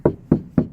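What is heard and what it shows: Knocks on a car trunk's sheet metal panel that has had sound-deadening material added, with more still to be applied. Three short, dull, low-pitched knocks die away quickly with little ring, and a fourth begins just as the clip ends.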